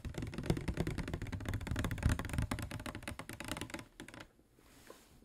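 Fingernails of both hands tap rapidly on a clear, medium-size, hollow PET plastic water bottle with a white cap that appears to hold water. The dense, uneven taps pile into a quick clicking patter with a dull, low body and very short decay. The tapping thins out near the end and gives way to near-silence before a few final faint taps.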